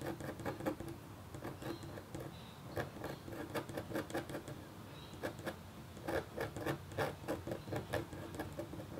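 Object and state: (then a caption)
Copper foil scratch art board being scratched. A red-handled metal stylus scratches a flat, black-coated copper foil scratch art board held by a hand with painted nails. Quiet, dry, short scratching strokes come in irregular clusters with brief pauses, some carrying faint high squeaks.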